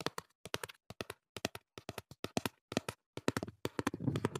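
Fingertips tap quickly across the surfaces of a small, hollow cardboard earplug box as it is turned in the hands. Dozens of short, dry, hollow taps come in quick clusters with brief pauses between them. Near the end the taps crowd together over a low, soft rustle.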